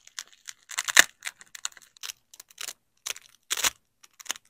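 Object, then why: Nylon hook-and-loop fastener strips. A yellow nylon hook strip and a black nylon loop strip of hook-and-loop fastener are pressed together and ripped apart by black-gloved hands. Quick, bright, crunchy tearing bursts come in irregular clusters, with one louder rip near the one-second mark and a longer rasping tear later on. Each burst stops almost instantly, with no ring.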